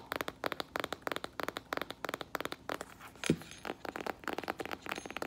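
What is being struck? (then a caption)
Faux leather strappy sandal. A flat faux leather strappy sandal with metallic rose-gold straps and a tan synthetic footbed is held in the hands while fingernails tap and handle the sole and straps. About 26 quick, dry, clicky taps come in rapid bursts, with a brief crinkling handling sound and one heavier knock midway.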